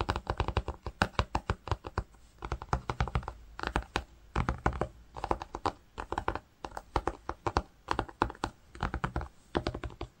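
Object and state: Woven cotton fabric.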